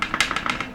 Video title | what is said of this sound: Walter Sorrells Katana Quick Look | you have to kind of give it a good shake it doesn't it doesn't rattle super easily but it does it does ever so slightly